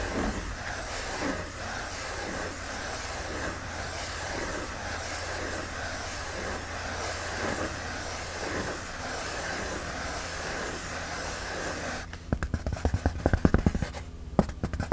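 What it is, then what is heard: Polyethylene foam sheet. Long glitter nails scratch steadily across the surface of a flat white polyethylene foam packing sheet, making a soft, rhythmic rasping over a low, constant hum. Near the end, the scratching gives way to sharper, uneven taps on the sheet.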